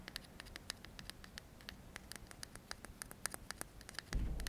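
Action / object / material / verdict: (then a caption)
tap / metal aerosol can / metal / none. Fingertips quickly tap and scratch the metal body of a hand-sized aerosol deodorant can with a blue cap, held in both hands. A rapid, dry patter of short, bright clicks with a faint metallic tint near 1.7 kHz sits over a low background hum, and the clicks stop almost instantly. Near the end, a louder burst of low rumbling noise takes over.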